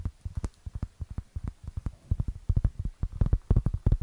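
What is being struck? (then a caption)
Round cork board. Long fingernails tap and scratch the rough surface of a round, flat, solid cork board about the size of a plate, held close to the microphone. About twenty quick, dull, low thuds come in an uneven rhythm, each dying away almost at once, and they grow louder and denser toward the end.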